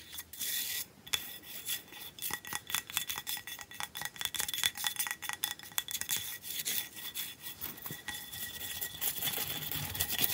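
Fingertips and nails scratch and tap the ridged top and edge of a large, flat, rectangular block of solid ice resting on a purple towel. Rapid, bright scraping and crisp clicking taps come in quick bursts, with very little low end and a faint ringing tone near 3.5 kHz.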